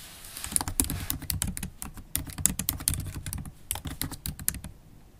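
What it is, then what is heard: Laptop keyboard being typed on. Typing on a MacBook Pro laptop keyboard, with low-profile black plastic keys in a silver aluminum body, using long stiletto acrylic nails and fingertips. The result is a steady run of quick, dry clicks and taps with bright nail-tip ticks over soft low key thuds. Each keystroke stops almost instantly, with no ring.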